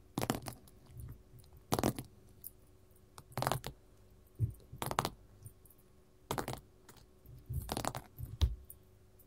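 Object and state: Glitter-covered mat tapped with metal nail caps.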